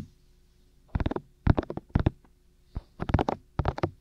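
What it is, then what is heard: Silicone ears of a binaural microphone. Fingertips with short nails tap and cup the white, hollow, ear-shaped silicone ears of a black 3Dio binaural microphone mounted on a tripod. Soft, deep, muffled thumps land in short rapid clusters, separated by brief quiet gaps. Each tap dies away almost instantly with no ring.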